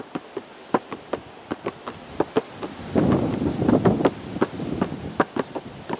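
Fingertips tap a hollow, printed cardboard teacake box held close outdoors, giving eighteen short, dry, hollow knocks at an uneven pace. From about three to four seconds, a low, rushing noise, possibly wind, swells under the taps before fading back to a quiet background.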